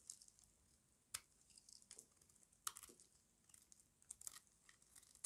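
A small metal blade shaves crunchy curls off a solid rectangular bar of dry white soap held in the hand. It makes quiet, bright, crisp scraping and crackling cuts at an irregular pace, with a few sharper crunches standing out. Each sound stops almost instantly, with no ring or low rumble.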